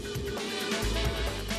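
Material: Nothing is struck.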